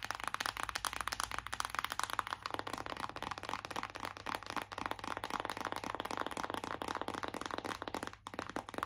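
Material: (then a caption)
Cardboard. Long acrylic nails tap fast on a flat, hollow, printed cardboard eyeshadow palette held in both hands. The result is a steady stream of dry, clicky taps that stop almost instantly, centered around 1 kHz with little low end. The tapping continues throughout, with only a brief dip just after 8 seconds.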